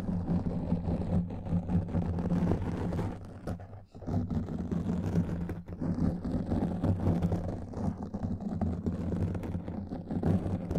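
Fingertips and long nails scratch and rub the surface of a black foam microphone windscreen. The result is a dense, continuous muffled rumble of scratchy friction, heavy in the lows with a steady low hum. It briefly drops out near the four-second mark before resuming.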